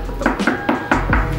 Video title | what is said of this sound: Komparasi 2 KYT, NX Race + TT Course - RC Video - | lebih nyaring sih. Jadi ya bedanya kenapa fiber dia lebih kuat sih.